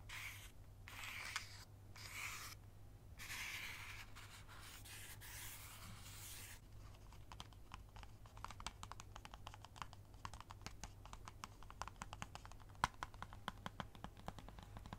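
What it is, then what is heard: Cardboard matchbox. A small, closed cardboard safety-match box with a red and white label, hollow and likely full of matches, is held in the hands while long acrylic nails scratch and tap its top. For the first several seconds, bright, broad scratching strokes come in bursts separated by short pauses. After that, a rapid, uneven run of many crisp, short taps takes over, all above a steady low hum.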